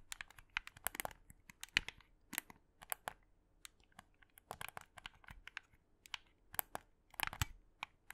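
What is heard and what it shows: A black, hollow plastic Xbox 360 controller is held in both hands while fingertips and short nails press and click its buttons and triggers and tap its shell. The result is a quiet, irregular stream of sharp, bright, dry clicks and taps, some in quick clusters, that stop instantly with no ring over a faint low hum.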